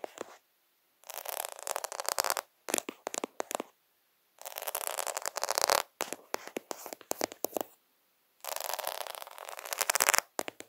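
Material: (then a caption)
Plastic. Fingertips scratch fast and aggressively across the beads of a plastic faux pearl sticker sheet with half-pearls, close to the lens. Dense, bright, rasping scratch bursts with almost no low end alternate with short silent pauses.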